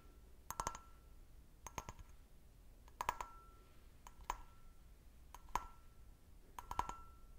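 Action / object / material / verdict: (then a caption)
tap / glass brandy snifter / glass / none. Fingernails tap a clear, medium-sized, empty, hollow stemmed glass brandy snifter held by its bowl and stem. Six quiet bursts of quick, bright clicks come about every second, each with a short glassy ring near 1 kHz that fades almost at once.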